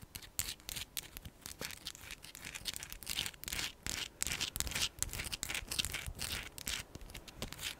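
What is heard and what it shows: Long pink acrylic nails scratch and tap a solid, palm-sized chunk of raw pale pink rose quartz with a rough faceted surface. The result is a quiet, irregular stream of dry, bright scratches and short clicks that stop dead with no ring.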